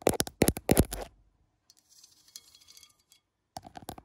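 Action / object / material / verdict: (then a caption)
scrape / ribbed ceramic plant pot / ceramic / none. Long manicured nails tap and scratch along the ribbed outer wall of a large beige ribbed ceramic plant pot, hollow and filled with soil. Sharp, dull knocks come in a quick cluster, then a faint, airy scratching across the ribs. A final burst of lighter taps follows.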